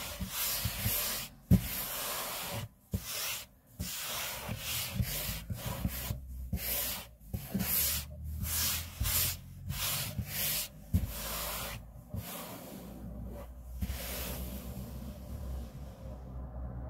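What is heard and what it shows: Palms and short fingernails of both hands rub and scratch across a large, solid, light-grey, smooth laminate table top, likely laminate over a wood-based board, with a flat hand sliding across the surface in the middle. Bursts of dry, bright, hissy friction come in uneven strokes separated by brief pauses, over a low, soft rumble. The scraping thins to a quieter, duller rubbing near the end.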